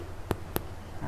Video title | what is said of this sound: EPISOD 234 KOREAN CREAM CHEESE GARLIC BREAD | kita jentik bahagian bawahnya. Kalau bunyinya macam bunyi ni lah. Dia maksudnya dah fully cooked.